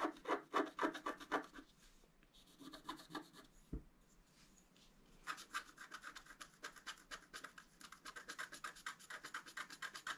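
A wooden stylus scratches the antler and flower area of a black scratch art card, a flat sheet of black-coated scratch paper lying on a table. Quick, dry, rasping strokes come about four per second in loud bursts, fade to quieter scraping with a single dull low thump in the middle, then return as a steady run of bright scratches.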